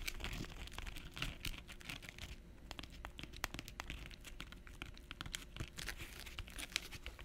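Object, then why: Glitter fabric clutch purse with metal trim. A small, hollow silver glitter fabric clutch purse with metal trim is held in both hands and scratched and tapped with long nails. Dry, bright scratching and crinkly rasping run throughout, broken by many sharp, quick taps that stop at once.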